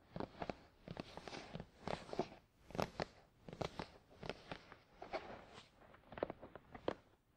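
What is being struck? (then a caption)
Closed printed cardboard box. A closed, hollow, glossy black printed cardboard product box for a Tascam DR-100 mkII rests on a towel and is tapped and scratched with the fingertips of both hands. The result is a steady run of dry, hollow taps mixed with soft scratchy brushing, centered in the mid-range around 600 Hz. Each tap dies away almost instantly.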